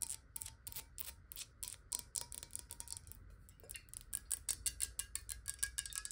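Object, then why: Glass water bottle, partly filled with water. A clear, square, hollow glass water bottle, partly filled with water, is tapped quickly with long nails, including on its bottom edge. About 28 sharp, bright clicks come in an uneven run, each with a faint glassy ring around 1.6 kHz that dies away almost at once. The taps grow louder and more evenly spaced toward the end.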